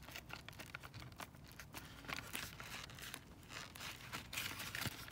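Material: Cardboard.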